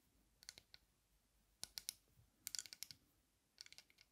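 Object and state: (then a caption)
Metal-frame sunglasses tapped with a nail. A long nail taps the dark lenses and metal frame of aviator sunglasses held in front of the face. Quiet, bright, dry clicks come in four quick bursts, each dying away instantly with no ringing.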